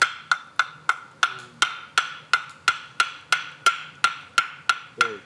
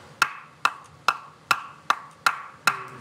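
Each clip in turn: First: Crisp, bright knocks near 1.4 kHz, evenly spaced and clean: dry firewood striking dry firewood. Second: Seven short wooden knocks around 1.4 kHz, dying almost at once: unseasoned firewood, slightly dull.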